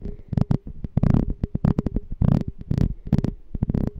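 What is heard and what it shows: Fingernails tap the walls of a small, hollow, clear glass jar with a black label and a gold metal lid, held sideways and partly filled with water. A rapid run of short, dull, low-pitched taps is heard, each with a faint hum and a quick decay, some blurring into brief sloshing bursts.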